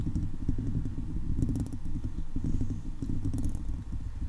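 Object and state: Metal mesh microphone grille being scratched.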